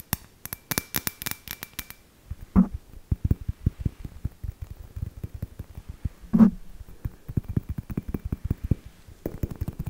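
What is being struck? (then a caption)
Hollow glass ball ornament. Long fingernails tap and scratch the surface of a clear, hollow glass ball ornament with string lights inside, held in both hands. Quick, dry clicks and taps come in uneven bursts, with a few louder, lower knocks standing out, and a brief bright scratchy stretch at the start and end.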